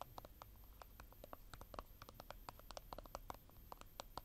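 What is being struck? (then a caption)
Slim plastic cosmetic tube. Long painted nails tap and scratch along the body of a slim, hollow plastic concealer tube with a blue cap, held in both hands. Quiet, rapid, dry clicks and ticks centered around 1 kHz with bright edges die away instantly, over a soft low rumble and a faint steady high tone.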